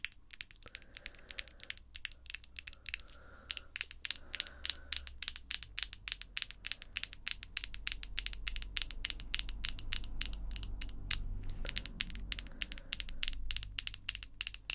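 Long acrylic false nails are held in front of the face and their tips tapped against each other. The result is a rapid, uneven stream of sharp, bright clicks, each dying away almost instantly, over a low rumble that swells through the middle of the clip.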